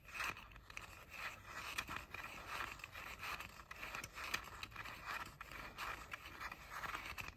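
Fingernails scratch and scrape the rims and outer shells of the hollow ear cups on pink plastic JBL over-ear headphones. The result is a steady run of quiet, dry, bright scratchy strokes with quick clicky attacks that fade almost at once, concentrated around 1–3 kHz with little low end.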